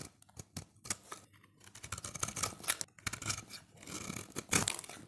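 A solid oval orange bar of dry soap, held in the hand, is scraped and shaved with a utility knife blade, with shavings falling away. The sound is a series of short, bright, crisp scraping strokes with dry rasping in between. The strokes come in quick bursts and build to a denser, louder shaving near the end.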